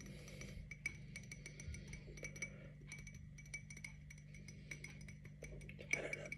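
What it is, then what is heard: Glass tumbler. A tall, clear glass tumbler with a printed watermelon pattern, hollow and apparently empty, is held in one hand and tapped with the fingernails of the other. Quick, irregular, bright clinks with a high ringing tone come in clusters over a steady low hum, each decaying almost at once.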